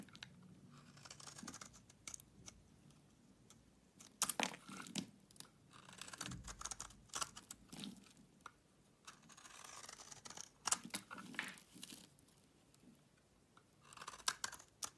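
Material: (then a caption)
Soap. A solid green bar soap held in hand is shaved with a utility knife blade, making crisp, bright scraping and crunching cuts. The strokes come in uneven bursts of short shaves with quiet gaps between them, and the sound is light and high with little low end.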